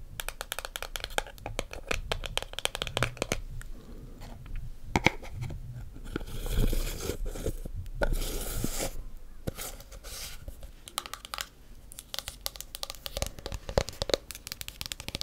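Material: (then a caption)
Plastic. Long black acrylic nails tap and scratch the lid and sides of a small, round, hollow, pale green plastic skincare jar with a white lid. Rapid, sharp clicking taps mix with dry scratching, and longer, noisier scraping bursts come through the middle of the clip.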